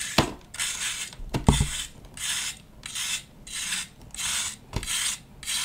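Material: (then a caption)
Compressed powder. A knife blade scrapes a solid disc of compressed pale green baking soda or chalk powder held in the hand, crumbling powder off with each pass. A steady series of bright, gritty, rasping strokes is broken by short pauses, with a few sharp clicks and low thuds along the way.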